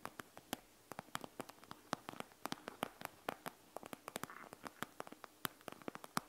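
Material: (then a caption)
Plastic. Long acrylic nails tap and scratch across the clear plastic front of a flat panda-print eye mask filled with small gel beads, lying on a wooden table. An uneven stream of sharp, bright clicking taps plays over a faint hiss, with a brief softer scratching rasp in the middle.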